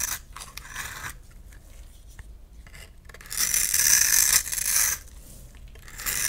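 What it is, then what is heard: Bar of soap being carved. A utility knife blade scrapes and carves a solid oblong lilac bar of soap held in the palm, breaking off flaky chunks. Dry, bright rasping scrapes come in short bursts, with a longer, louder scrape in the middle and quieter crumbly scratching between strokes.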